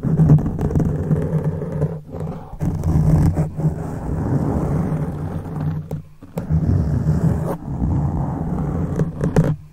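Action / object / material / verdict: scrape / foam microphone windscreen / foam / none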